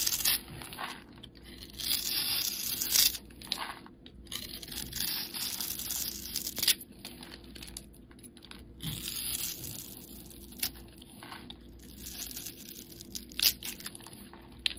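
A metal blade scrapes across the scored face of a solid, hand-sized red oval soap bar held in the hand, crumbling it into small red soap pieces. The sound is a bright, dry scraping and crunching with irregular louder crackles and very little low end.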